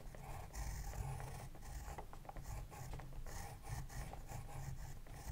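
A pencil is drawn across the page of an open spiral-bound paper sketchbook in a scratching, writing motion while the other hand holds the notebook steady. The sound is a continuous dry rasp with a heavy low rumble and brief brighter scratchy streaks as the pencil moves.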